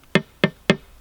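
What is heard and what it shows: Three sharp knocks on the side of an old fish tank, made to check whether it is plexiglass or glass. Each knock gives a short, hollow tap with a low tone near 190 Hz and a bright, ringing overtone that dies away almost at once. The sound marks the tank as glass, not plexiglass.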